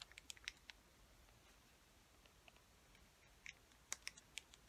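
Long fingernails tap and scratch a white plastic acrylic paint tube and its black cap. Quiet, bright, dry clicks come in a quick cluster at the start, then a soft scratchy lull, then sharper taps again near the end. Each click dies away almost instantly, with almost no low end.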